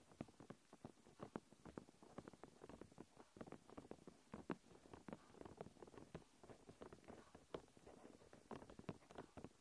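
Long nails quickly tap and scratch a thin, clear plastic protective film stretched over a recorder. The result is a quiet, rapid patter of dry, short clicks with almost no ring, centered in the low-mids, with soft scratchy rustling between the taps.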